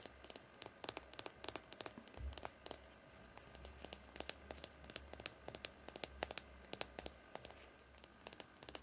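A small, hollow yellow plastic mascara tube, held in both hands over a towel, is handled and tapped or scratched with fingertips and nails. Quiet, dense bursts of sharp, bright clicks and crinkly scratches overlap at a fast, irregular pace on top of a low, steady hum.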